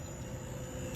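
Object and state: Nothing is struck.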